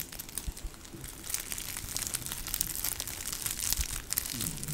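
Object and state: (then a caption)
Plush dog toy with crinkle filling. A long, grey spotted fabric plush snake dog toy, soft and flexible with crinkle material inside, is squeezed, scrunched and scratched with long nails. Dense, bright crinkling rustles build over a soft low rumble, growing louder and busier after the first second and continuing steadily to the end.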